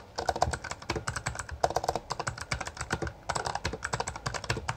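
Both hands type continuously with their fingertips on a full-size black plastic Bloody B820R mechanical gaming keyboard with backlit keycaps and a hollow housing. The result is a fast stream of short, sharp clacks with a hollow, plasticky ring around 700 Hz. Brief lulls fall near 1.5 and 3.2 seconds.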